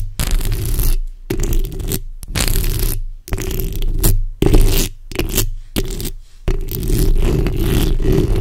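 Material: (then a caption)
Metal mesh. The backs of long red nails scratch both sides of a black microphone's hollow metal mesh grille. The result is loud, rough, bassy scraping with a boomy low rumble and a gritty rasp on top. It comes in repeated bursts separated by brief silent gaps.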